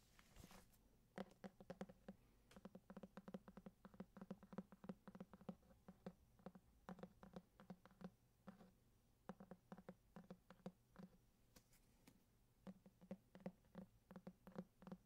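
Fingertips and short nails tap rapidly and irregularly on the embossed, printed cardboard cover of a thick, solid hardcover copy of Grimm's Fairy Tales. The dozens of quiet, dull taps each have a low thump around 190 Hz, stop almost instantly with no ring, and sometimes come in quick clusters.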